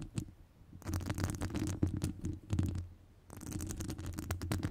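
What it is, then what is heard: Metal mesh microphone grille scratched with nails. Long acrylic nails scratch across the top of a hollow metal wire-mesh microphone grille, making bursts of rough, crackling scratches with a heavy low rumble and bright ticks. The scratching comes in three stretches separated by short quiet pauses.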